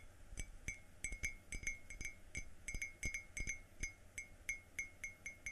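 Fingertips tap the outer wall of a hollow, apparently empty yellow glazed ceramic coffee mug with a white inside, while the other hand holds it by the handle. The result is 22 quick, uneven taps, each a short bright clink ringing near 2.2 kHz with high overtones and a soft low thump.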